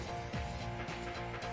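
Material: Nothing is struck.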